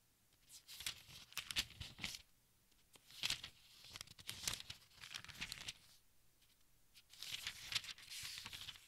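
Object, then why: Large book with thin paper pages. Fingertips and nails lift and turn the thin, crinkly pages of a large open textbook. Soft, bright rustling and crinkling comes in several quiet bursts separated by short pauses.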